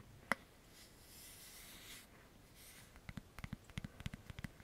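Fingertips and nails work a black, hollow-backed plastic paddle hairbrush held close: a single sharp tap, then a soft, airy scratching across the bristles. It ends in a quick run of light, hollow taps on the plastic back.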